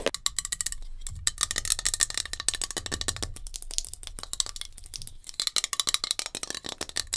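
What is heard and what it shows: Long nails tap rapidly on a metal hairspray can, producing a dense stream of sharp, bright clicks with almost no ring. A soft low rumble sits beneath the tapping, which thins into brief pauses before picking up again in quick bursts.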